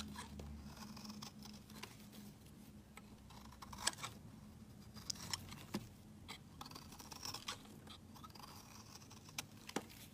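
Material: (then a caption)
Soap. A metal utility-knife blade shaves long curls off the edge of a rectangular solid cream soap bar held in hand. Soft, dry scraping and scratching fill the clip, broken by sharp, bright clicks and snaps as the blade bites and the shavings break away, over a faint steady low hum.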